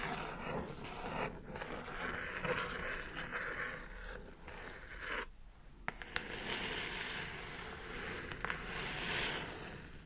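Long nails scratch and tap the top surface of a hollow brown kraft cardboard mailer box. A steady, dense scraping rasp fills the clip, broken by a short quieter gap near the middle and a few sharp, bright taps that stand out in the second half.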